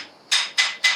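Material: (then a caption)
Stone. A prepared geological stone core, a sonorous stone or lithophone, is struck three times. Each strike gives a bright, ringing tone near 2 kHz with audible harmonics that fades within a fraction of a second. The harmonics mark it as a true sonorous stone rather than a mere noise.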